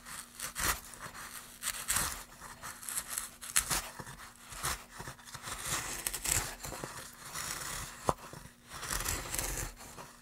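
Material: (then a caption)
Pine wood. A gouge is pushed along a groove in a solid pine plank by gloved hands, curling off shavings with a run of dry, bright scraping and crinkling strokes. Each pass swells and fades, with a few sharper snaps, over a faint steady low hum.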